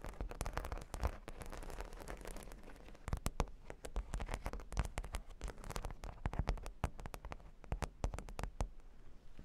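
Long pink nails scratch across a flat cork board covered with solid plastic half-pearl stickers. The result is a dense stream of rapid, dry clicks and crackly scratching, heavy in the low end, with sharp ticks that stop almost instantly.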